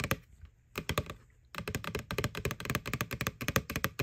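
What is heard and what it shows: Long nails tap on the side wall of a small, hollow, white plastic ghost-shaped Halloween candy bucket held tilted. A few sharp taps and a short cluster are separated by quiet pauses, then a rapid, continuous run of clicky taps follows. Each tap has a bright click over a short hollow, low thunk.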